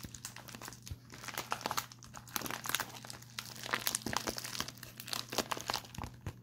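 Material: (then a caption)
Metallic foil. A small pink metallic foil padded bubble envelope, empty-looking and held in both hands, is crinkled and scratched with fingertips and short nails. The result is a steady run of crisp, bright crackles and scratchy rustles over a faint low hum.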